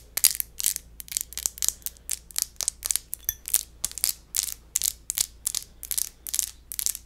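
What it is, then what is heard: Empty glass wine bottle. The textured surface of an empty glass wine bottle is scratched in a quick, steady series of short, crunchy, grinding strokes. Each stroke is bright and high with almost no low end, and the sound stops dry with no ringing between strokes.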